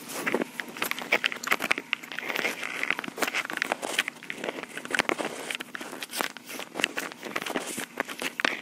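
Long pink acrylic nails tap and scratch the top and sides of a small, hollow, black plastic Tascam portable recorder. A steady stream of crisp, clicky taps mixes with scratchy rasps, all bright and thin with no low end. Each tap dies away at once.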